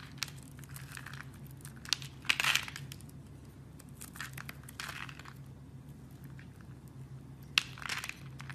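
A knife blade scrapes across a hand-sized solid bar of black soap with white stripes, scored in a grid and held in a hand with long red nails, crumbling off small cubes. The sound is a series of quiet, bright crumbly scrapes and crackles, with sharper snaps near the start and end over a faint steady low hum.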